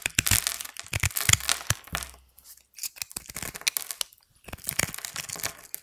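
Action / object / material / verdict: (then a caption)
scrape / bar of soap / soap / none. A small orange-handled knife scores and scrapes a grid into a hand-sized, solid bar of dry white soap coated in blue and gold glitter, held in the fingers. Small soap cubes crumble off onto a white surface. Crisp, bright scratching and crackling comes in dense bursts, separated by two brief pauses.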